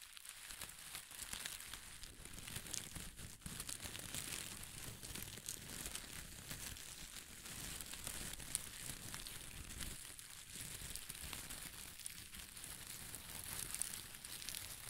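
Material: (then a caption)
Paper. A bunch of crinkle-cut pastel paper shreds is shaken and crinkled by hand close to the microphone. The sound is a steady, dense, bright crinkling and rustling that holds at an even, soft level throughout, with no clear pauses.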